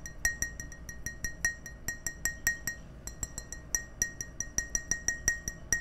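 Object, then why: Glass tumbler. An empty, hand-sized clear glass tumbler is held up while fingertips and nails tap its side, giving about thirty quick, bright clinks in an uneven rhythm. Each tap rings briefly with a clear tone near 1.9 kHz and high overtones before fading into a soft background hush.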